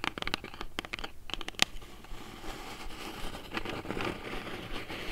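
Long nails lightly tap a small, hollow brown kraft cardboard box held in the hands, giving about ten sharp, bright taps in the first two seconds. Then comes a steady, papery scratching across the cardboard.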